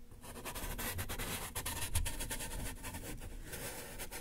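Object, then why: Corrugated cardboard box. A hand holding a yellow sponge rubs and taps against the right side of a large, closed, taped, hollow corrugated cardboard box. The result is a steady, scratchy scrubbing broken by soft, dull thumps that resonate low and hollow in the box. Quick bright brushing streaks run over the top, and each tap dies away almost at once.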